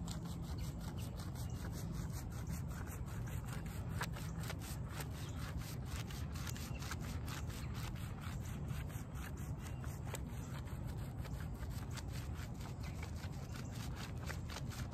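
A small, soapy, shaggy fabric doormat with a shag-pile textile surface, dirty and muddy, is rubbed and scrubbed with bare hands and fingertips. It makes a steady, low, rumbling rubbing with dense repeated scrubbing strokes and faint wet swishing, holding an even level throughout.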